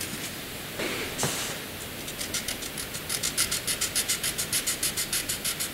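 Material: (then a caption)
Paper, graphite. A graphite pencil draws dense short strokes and lines on a flat sheet of white drawing paper, giving a soft, bright scratching hiss. A couple of longer scrapes come first, then a steady run of quick, rhythmic short strokes at about three or four per second.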